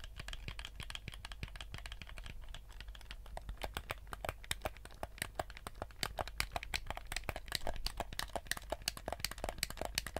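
Fingertips tap and click the buttons and hollow shell of a black PS4-style plastic gamepad. Rapid, dry, bright clicks and taps follow one another with almost no ring, over a steady low hum, growing a little louder and busier in the second half.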